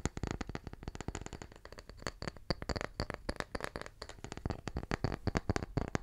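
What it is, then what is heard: Wooden tree slice. A small, round, solid wooden tree slice, held in one hand, is tapped quickly with the fingertips. It makes a dense run of short, dull knocks that stop almost at once, with most of the energy low and a faint high click on each tap.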